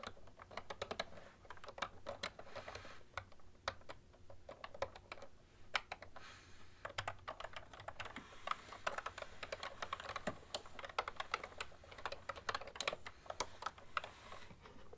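Both hands type with fingertips and long nails on a full-size cream plastic ergonomic keyboard with hollow keys. The result is a steady run of quick, sharp, bright plastic clicks and taps over a faint low hum.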